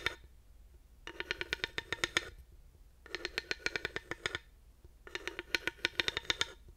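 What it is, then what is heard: Ridged wooden panel. A thin wooden dowel taps and rolls along the ridges of a solid, grooved wooden panel. Three bursts of rapid, bright clicking rattles are heard, each lasting about a second with short pauses between them, and every burst is made of many sharp, dry ticks.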